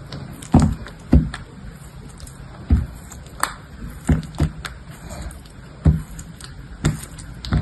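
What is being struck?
Bar of dried soap cut with a metal blade.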